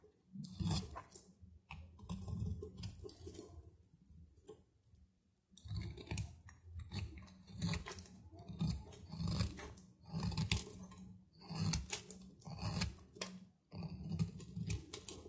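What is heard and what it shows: A small solid cube of dry soap is held in the fingers while a metal knife cuts crumbly chips off it. The result is a series of dry, close crunching and scraping strokes with a low, thick body and bright crackly edges. The strokes come in bursts separated by brief quiet pauses.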